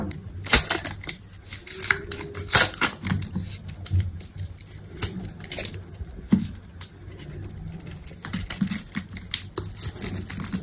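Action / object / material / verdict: scrape / bar of soap scraped with a metal blade / soap / none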